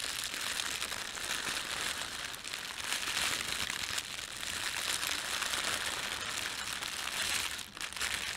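Fingertips rub and crumple a thin red printed plastic bread bag laid over a white plastic bag. A continuous bright, hissy crinkle with dense crackling runs throughout, dipping briefly near the end before resuming.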